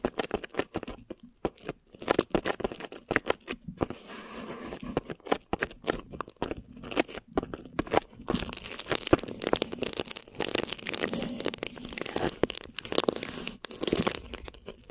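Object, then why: Plastic film stretched over a microphone head. Long lilac-painted nails and fingertips of both hands scratch and squeeze crinkly clear plastic film stretched over a hollow, round mesh microphone head. The result is a dense stream of crunchy crinkling and sharp scratches with short pauses between bursts. After about eight seconds the crinkling grows busier and brighter, filling the high end.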